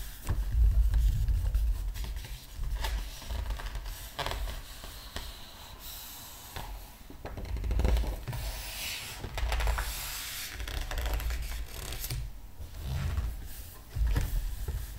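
Palms and fingertips rub across the glossy paper pages of a large open art book, and a large page is lifted and turned. Soft, dry rubbing and scraping comes in uneven swells, with brief bright crinkles as the page moves and a low rumble underneath.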